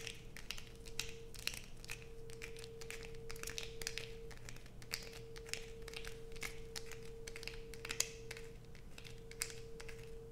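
A solid blue bar soap held in the hands is scraped with long nails, sending shavings onto a pile. Rapid, bright scratching and crinkly clicks come in quick uneven bursts over a steady low hum and a faint constant tone near 450 Hz.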